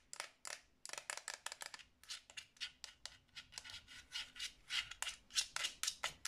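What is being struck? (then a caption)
Plastic game controller. Long nails tap and scratch the front and grips of a hollow black plastic Xbox 360 controller as it is turned in the hands. About 27 quick, dry, bright clicks and scratchy bursts follow one another with almost no low end and no ring.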